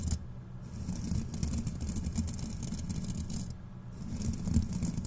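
Two fist-sized, airy steel wool scrubber pads held in both hands are scrunched and rubbed with fingertips close to the microphone. The result is a continuous, dense crackling rustle with a heavy low rumble underneath and bright, scratchy fizz that comes and goes. It dips briefly near the four-second mark before swelling again.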